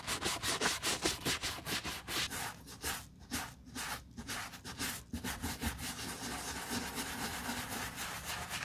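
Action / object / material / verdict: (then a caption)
scrape / leather boot scrubbed with a soft bristle brush / leather / none. A black leather Chelsea boot lies hollow on its side, its upper covered in soap foam, and is scrubbed with a wooden-handled soft bristle brush held in a gloved hand. Quick, wet, bright brushing strokes rasp back and forth across the leather upper in a steady rhythm, briefly pausing before settling into a continuous scrubbing hiss.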